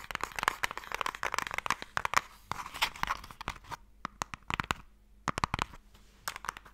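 A fingernail scratches and taps on the end and lid of a closed, hollow wooden Mikado box. Busy, rasping scratches with quick clicks fill the first few seconds, then sparser, sharp, dry taps follow, each with a woody midrange knock that dies almost instantly.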